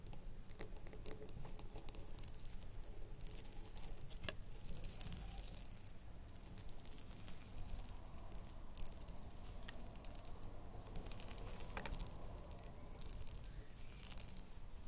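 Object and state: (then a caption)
Glass candle jar tapped with nails. A small red ribbed glass candle jar with a lid, likely filled with wax, is held in both hands and tapped with long glittery nails. Soft, rapid tapping and light rattling clicks continue steadily throughout, with bright, very short ticks over a low background rumble.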